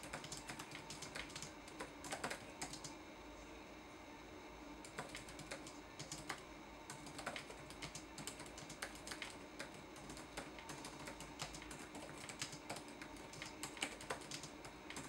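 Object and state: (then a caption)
Plastic laptop keyboard. Fingertips type quickly on the plastic keys of a red-backlit laptop keyboard, making a steady stream of short, bright clicks and taps. The typing eases briefly in the middle before resuming at a fast, uneven pace, over a faint low background hum.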